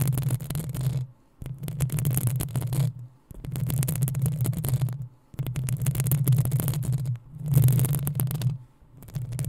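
Long acrylic nails on both hands scratch the hollow metal mesh head of a black desktop USB microphone. They produce dense, rapid scratching with a deep, boomy low rumble and a bright hiss on top. The scratching comes in several bursts separated by brief silences.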